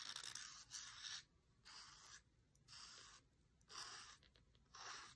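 A dried reed stem is traced and tapped across an open paper cookbook page, giving soft, bright, dry scraping strokes in separate bursts with quiet gaps between them. Each stroke has a papery hiss with little low end and almost no ring, and the stem is lifted away at the end while the page stays put.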